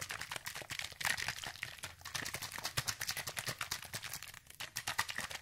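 A medium orange plastic spray bottle, hollow with liquid inside, is shaken quickly by hand near the microphone while fingernails rest on the bottle. The result is a rapid, continuous stream of bright sloshing and crisp clicking taps with very short decay and little low end.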